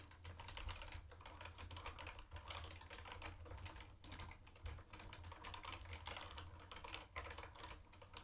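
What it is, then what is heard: Plastic keyboard being typed on. Fast two-handed fingertip typing on a mint-green plastic retro keyboard with round white plastic keycaps gives a steady, dense stream of bright, clicky keystrokes. A constant low hum sits underneath the whole clip.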